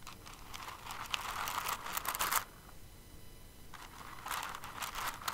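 Fingers with long nails dig into and stir a pile of plastic rhinestones in an open clear container, making a bright, crinkly rattling and clicking. The rattling swells for about two seconds, drops to a quiet pause, then picks up again until the end.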